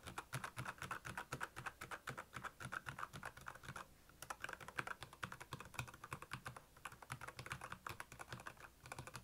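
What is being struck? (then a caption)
Plastic mechanical keyboard. Fast fingertip typing on the keycaps of a black, backlit plastic Royal Kludge mechanical keyboard. It produces a rapid, uneven stream of short, dry clacks with a bright click on top and a soft low thock underneath, each dying away almost instantly. There is a brief lull just before the 4-second mark.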